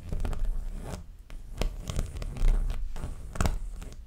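Long nails scratch and tap the surface of a framed, stretched canvas dreamcatcher print held upright. The result is a dull, low, rumbling rasp broken by quick, brushy taps and scrapes that sound a little like a zipper or tearing.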